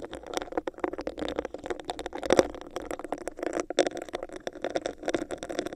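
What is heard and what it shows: A hollow, textured clear plastic cup with a bumpy surface sits over the microphone while long acrylic nails tap and scratch it. A dense run of quick, sharp clicks comes with scratchy rasps, focused in the mid range around 500 Hz with a hollow, resonant tone and very little low end.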